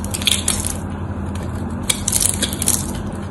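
A utility knife blade carves and scrapes small cubes off a solid white bar of soap that is scored in a diagonal grid and held in the hands. Crisp, bright crunching and scraping clicks come in short bursts over a steady low hum.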